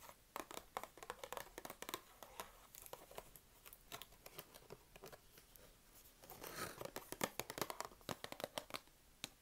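A small, partly empty open cardboard box of wooden craft sticks is held in both hands while long red-painted nails tap and scratch on the cardboard. Quick, sharp, dry ticks and scrapes come in uneven bursts, with a denser scratching patch in the middle, all at a quiet level.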